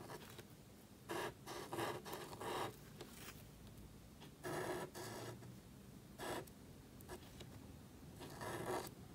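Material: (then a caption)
Cardstock. A marker nib scratches across a small, thin black cardstock card held flat while writing, making a series of short, dry, bright scratching strokes separated by brief pauses. Each stroke is a crisp, papery rasp over a quiet, low background hiss.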